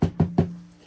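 Three taps on a large cardboard Funko Avengers scene box with a plastic insert inside give dull, low thumps. A faint hollow ring around 164 Hz carries between the taps, which is the sound expected from the plastic inside the box.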